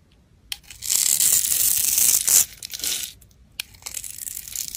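A black utility blade scrapes small cubes off the surface of a solid pale soap bar scored in a grid. A sharp tick opens a bright, crumbly scraping that builds into a sustained gritty rasp, then breaks off into softer, intermittent scrapes. Another sharp tick leads into fainter crumbling at the end.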